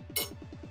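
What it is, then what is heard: Metal bottle opener tapped on metal. A metal bottle opener, which came as a gift with an Andúril replica sword, is tapped once against the sword, giving a single bright metallic clink. Background music with a repeating low electronic beat continues underneath.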